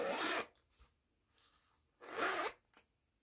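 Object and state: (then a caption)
Fabric zipper pouch being zipped. Fingertips with long nails zip a small pink and yellow woven jute-look fabric pouch open and closed along its yellow nylon zipper. Two quick, bright raspy zip pulls are heard, each followed by a faint click as the slider stops, with near silence between them.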